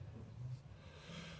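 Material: Nothing is struck.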